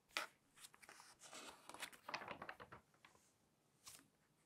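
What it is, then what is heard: Glossy paper magazine pages. Fingertips turn and smooth the pages of a thick, open glossy paper magazine. Soft, bright crinkles and papery rustles come in short bursts, with a sharp flick at the start and a last brief swish near the end. The sound is quiet and thin, with almost no low end.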